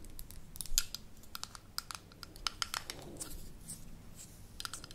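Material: Metal, glass.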